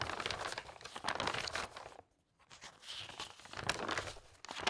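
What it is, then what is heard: Glossy magazine pages being flipped. A bundle of pages in a large, open glossy-paper interior design magazine, lying on a fabric tablecloth, is fanned and flipped rapidly by a hand with long red nails. The result is a dense, bright, crisp papery fluttering and crinkling. It drops to near silence for a moment midway, then picks back up.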